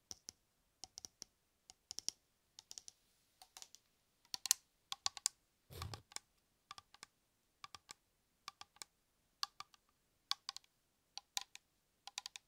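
Fingertips tap and scratch a metal shaving cream aerosol can, producing quick, sharp, bright clicks in irregular short clusters. A brief rougher scratching burst comes near the middle. Each tap dies away almost instantly, with no ring.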